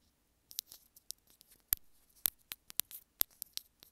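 A small white plastic earphone inline remote is held between the fingers while long nails scratch along its length and tap on it. About fifteen quiet, sharp, bright clicks and short scratchy rasps are heard, dry and with no ring between them.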